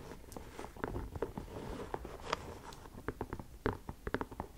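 Long nails tap and scratch the leather side panel of an empty white leather sneaker held sideways. Quiet, dry clicks with almost no ring come in an irregular string, with soft scratchy rustling between them.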